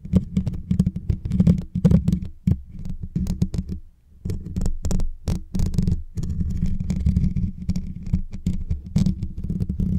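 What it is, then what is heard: Metal microphone grille. Fingertips and short nails scratch and tap the hollow, rounded metal mesh grille on top of a white Blue Yeti microphone. The result is a steady stream of soft, deep, thumpy taps and rustling scratches with a low hum-like boom and a faint bright crackle. The sound briefly drops to near silence around the four-second mark.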